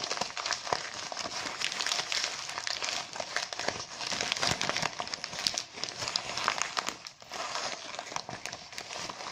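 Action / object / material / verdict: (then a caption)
scrape / deflated mylar foil balloon / mylar foil / none. A deflated mylar foil balloon with printed text is scratched and rubbed by fingertips with short nails, crinkling the foil. A dense, continuous bright crinkle runs throughout, with many sharp scratchy clicks and almost no low end.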